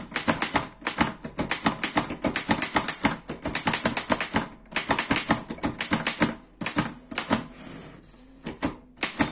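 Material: Metal.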